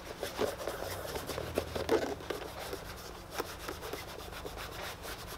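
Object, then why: Leather boot toe rubbed with a cloth. A cloth wrapped over the fingers rubs the toe of a tan leather boot, producing a steady, dry, scratchy rubbing sound. Brief louder swipes stand out from the continuous friction, which sits mostly in the midrange with little low rumble.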